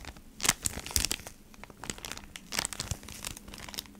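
Long nails scratch and squeeze a flat cardboard beeswax wrap pack in a clear plastic sleeve. The result is bright, dry crinkling with sharp, quickly fading crackles, loudest near the start and again later, over a soft rustle.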